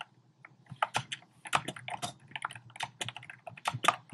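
Fingertips type rapidly on a compact black plastic typewriter-style keyboard with round plastic keycaps. The result is a quick, uneven run of short, dry plastic clicks and clacks with bright tops and a soft low thud under each tap, dying away instantly.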